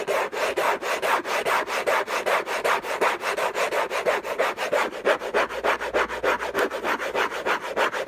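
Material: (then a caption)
Cardboard. Fingertips and nails scratch fast and hard across the hollow lid of an orange, textured-paper cardboard gift box. About 32 rapid, rasping strokes follow one another without pause, each a dry, papery burst centered in the mids with a bright edge and almost no low end.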